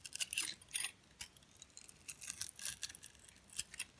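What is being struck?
Glitter-coated soap bar.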